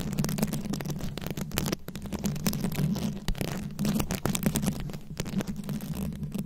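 Long acrylic nails scratch and tap the rhinestone beads covering a round microphone head, producing a dense, continuous run of close-up clicking and scraping. Quick, brittle ticks ride over a steady low hum near 200 Hz, with the activity thinning briefly before picking back up.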